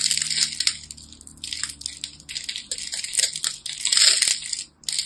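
A small utility knife scores and cuts small cubes off a solid rectangular teal-and-white striped bar of soap held in the hands, and the cubes crumble off. The sound is a rapid, irregular series of crisp, bright crunching and scraping bursts, almost entirely high-pitched with no low end. The bursts rise and fall in intensity and end with a short quiet pause before a final crunch.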